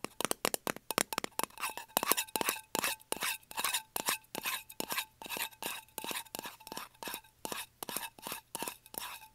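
Fingernails rapidly tap and scratch the lid of a small round lidded metal candle tin resting on carpet. Sharp, bright clicks with a faint metallic ring around 1 kHz alternate with short, raspy scratching bursts at a fast, irregular pace.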